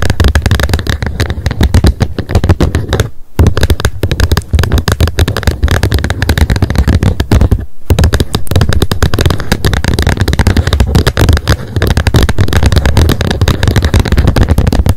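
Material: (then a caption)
Plastic. Long nails tap rapidly on the plastic lid of a wet wipes pack lying flat on a mat. The result is a dense stream of quick, short clicks with a deep low-end thump under each tap, broken by two brief pauses near 3 and 8 seconds.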